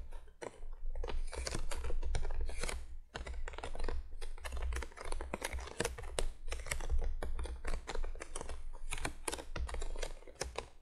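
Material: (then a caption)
Cardboard. Long fingernails on both hands tap rapidly across the top of a printed cardboard box lying flat. The result is a dense, continuous patter of crisp, bright clicks, like fast typing, over a steady low hum.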